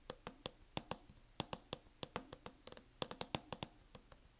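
Long acrylic nails on both hands tap quickly on a closed MacBook laptop fitted with a mint matte plastic hard-shell case. About twenty sharp, bright clicks land in an uneven rhythm, each dying away almost instantly over a quiet background.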